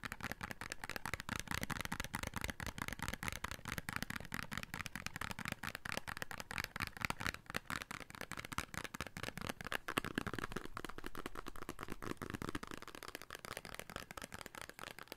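A small red printed paperboard "Beauty Soap" box, hollow and likely holding a bar of soap, is held in both hands and tapped and scratched with short fingertips and nails. Quick, dry, crisp taps and papery scratches run steadily throughout with a hollow low body. Near the end the low thump fades, leaving thinner, brighter scratching.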